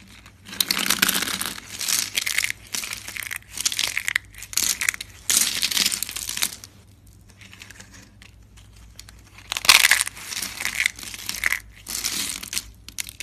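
Fingers with long red nails crush and snap thin, dry, tan soap rings and flakes. The result is bursts of bright, crisp crinkling and crunching, with a quieter pause in the middle before the crushing resumes.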